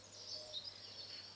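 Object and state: Nothing is struck.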